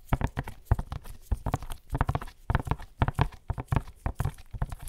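A tall, hollow black-and-white printed cardboard box from Barber Jack, held upright against the microphone, is tapped and scratched by fingertips in white latex gloves. Quick, dull, low knocks come in rapid irregular bursts, mixed with faint scratchy rustles, and each tap dies away almost at once.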